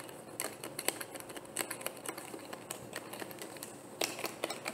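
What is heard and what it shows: Fingers and nails twist the cap of a medium, opaque, hollow white plastic bottle and tap on the bottle. A quick, uneven run of sharp, bright clicks and taps follows, each dying away almost instantly with very little low end. A couple of louder taps stand out near the start and toward the end.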